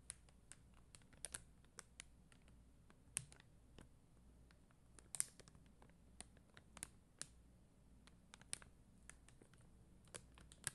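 Long dark-green nails tap the red and clear faceted plastic gems of a rhinestone sticker sheet on white backing. Quick, dry, bright clicks and ticks come in an irregular, unhurried pattern over a soft low hum. Each tap dies away almost instantly.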